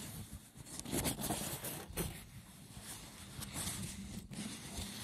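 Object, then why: Woven seagrass wicker box. Fingertips scratch and tap the top of a hollow, rectangular braided wicker box of woven seagrass resting on a wooden table. Rough, bright scratching mixes with soft, low, hollow knocks that die away quickly, with the loudest taps falling around the first and second seconds.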